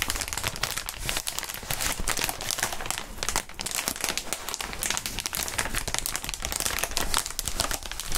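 Gloved hands bend and crinkle a clear, hollow inflated plastic air column cushion wrap close in front of the microphones. A dense, continuous stream of bright crinkling and crackling runs throughout at a steady level, with a low rumble underneath.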